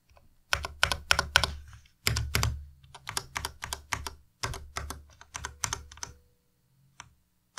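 Fingertips type slowly on a white compact Ducky Miya Pro mechanical keyboard with plastic keycaps, pressing and tapping the keys. Bright, sharp plastic clacks with a low thock beneath come in uneven bursts, separated by short pauses. The typing ends with a few sparse taps near the end.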